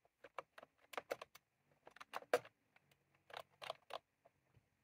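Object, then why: Plastic keyboard with round keycaps. Fingertips of both hands press keys on a white/cream plastic retro computer keyboard with round typewriter-style keycaps, resting on a desk. About 13 short, dry clicks come in irregular bursts with a quiet, mid-pitched tone centered near 500 Hz and very brief decay.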